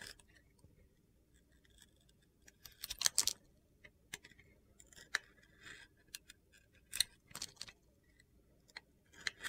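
A metal utility knife blade scrapes and carves thin slices off a solid, hand-sized red and yellow soap bar decorated with glitter and gold stars, held in a hand with red nails. Crisp, crunchy, bright scraping and cutting bursts come in short, separate strokes, with the densest flurry around the third second, over an otherwise quiet background.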